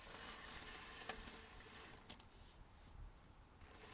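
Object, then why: Pile of thin cardboard jigsaw puzzle pieces. Fingertips rummage and stir a large loose pile of small, thin cardboard jigsaw puzzle pieces on a red table. The result is a quiet, steady, bright shuffling rustle, broken by a few sharper clicking taps as pieces knock together.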